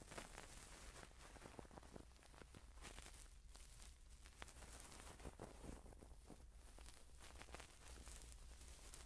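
A cotton swab on a long wooden stick rubs and scratches inside the ear canal of a hand-sized, soft, skin-coloured silicone ear model held in one hand, with a Sony pin microphone clipped behind it. The result is a steady, close-up scratching and crackling texture with brief dry clicks over a constant low rumble, staying quiet throughout.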